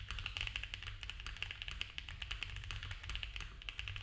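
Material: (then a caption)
Plastic. Both hands type fast with their fingertips on a compact, foam-filled mechanical keyboard with cream ABS keycaps on a dark case and a polycarbonate plate. A rapid, steady run of short, dry, bright clicks centres around 2.7 kHz. A low, constant rumble sits underneath.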